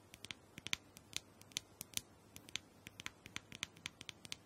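Long acrylic nails tap and scratch the rounded top of a small, hollow, purple plastic dome-shaped massager held in one hand. The result is an irregular run of sharp, bright, clicking taps with quick scratchy textures, dying away almost instantly over a quiet background.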